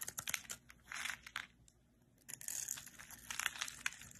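A solid green, palm-sized rectangular bar of soap is held in the hand and scraped and shaved with a metal utility-knife blade. The result is quiet, bright, crisp crinkling and crunching scrapes in quick bursts, with a short near-silent pause midway before denser shaving resumes.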